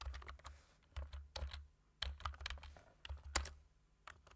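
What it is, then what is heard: Plastic computer keyboard. Fingertips type slowly and sparsely on the keys of a black plastic computer keyboard. Short, bright plastic clicks fall in irregular clusters separated by pauses, with a steady low hum underneath.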